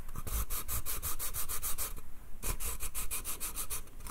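Fingernails quickly scratch and tap the slats of a small, hollow pine slatted bath crate. The result is a rapid, even series of dry, bright scratchy ticks with a low hollow thump beneath, broken by a brief pause near the middle.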